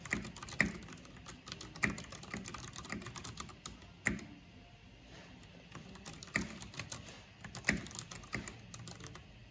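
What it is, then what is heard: Plastic mechanical keyboard. Both hands with long nails type quickly with their fingertips on a mechanical keyboard with black plastic keycaps and a purple backlight. The result is a rapid, steady stream of crisp, bright plastic clacks, punctuated every couple of seconds by louder, sharper keystrokes, with a brief pause near the middle.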